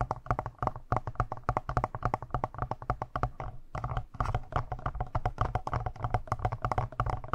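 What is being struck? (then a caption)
Plastic handheld audio recorder casing. Fingertips tap and scratch the lower button area and sides of a black, hollow-bodied plastic Tascam handheld audio recorder. The result is a rapid, irregular stream of short, dry taps with a deep, thumpy low end, crisp clicky tops and scratchy rustling between hits. The tapping briefly thins out just before the four-second mark, then resumes at the same busy pace.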